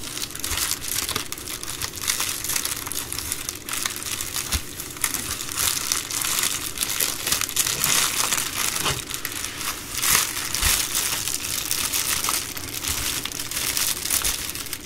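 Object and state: Plastic bubble mailer being crumpled.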